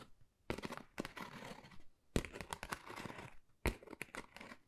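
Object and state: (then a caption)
Textured cardboard folder scratched with nails. Long nails scratch across a flat, pale pink, pebble-textured cardboard Dior folder that is thin and hollow. Quiet, dry, crinkly rasps come in uneven bursts, each starting with a sharp scrape and trailing into softer textured scratching, with short pauses between strokes.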